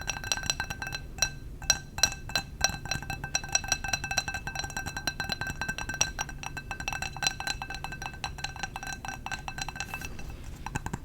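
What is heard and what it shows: A glass candle jar is tapped with the fingers for ASMR, giving a quick, continuous run of light, bright clinks. Each tap rings briefly with clear high tones over a faint low rumble, with no talking.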